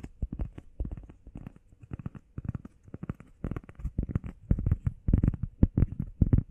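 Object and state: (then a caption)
Foam workout pad. Fingertips and nails quickly tap and scratch the face and edge of a flat, solid, grey textured foam heart-shaped workout pad. The result is a fast, irregular patter of soft, muffled, low thuds that stop almost instantly, with faint brushing scratches in between.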